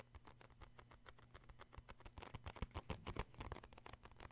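Fingertips tap the front and the side corner of a cardboard tissue box. The result is a quick, uneven run of short, dull taps with a low, thumping body and almost no ring, growing a little louder toward the middle.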